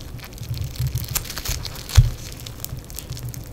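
Fingers in black nitrile gloves stretch, fold and squeeze soft, solid yellow crackling foam bead clay. Low muffled squishing runs throughout, with fine bright crackles and tiny pops from the beads. One louder pop stands out near the middle.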